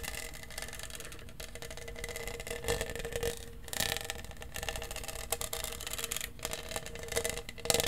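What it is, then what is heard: Studded plastic tumbler. Fingertips tap and scratch the studded side of a large, hollow lavender plastic tumbler held upright with a straw in it. Soft, continuous scratching with a faint hollow tone runs throughout, broken by short, bright, crisp bursts where the taps and scrapes land harder.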